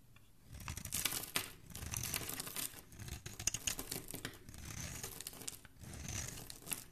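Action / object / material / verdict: scrape / bar soap shaved with a metal blade / soap / none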